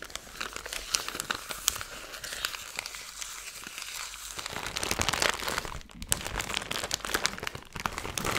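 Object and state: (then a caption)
Plastic zip bag of glitter being crinkled. A small clear plastic zip-top bag with a green seal, packed full of fine silver glitter or foil bits, is held in both hands and crinkled and squeezed with long blue-painted nails and fingertips. It makes a steady, bright, crackly crinkling full of sharp little snaps. The sound grows louder and denser after about five seconds, then briefly drops off near the six-second mark.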